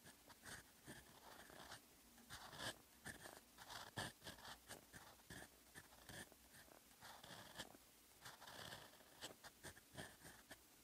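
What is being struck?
Steel pen nib on lined paper.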